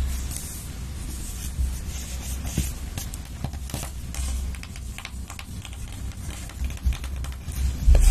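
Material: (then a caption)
Cardboard. A long patterned nail taps and scratches the edge and surface of a large, flat, cardboard-bound eyeshadow palette with pressed pans, held upright in one hand. Scattered dry clicks and soft scratchy strokes sit over a steady low hum, with a few sharper taps near the end.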